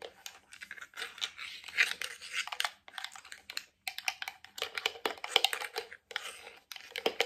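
A medium, hollow white plastic cream jar with a lid is tapped on its base, lid and sides with nails, fingertips and rings. The result is rapid, bright, crisp clicking taps in irregular bursts, separated by brief pauses.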